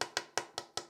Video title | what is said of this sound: Guitar History Vintage Buyers | you can hear it's hollow in places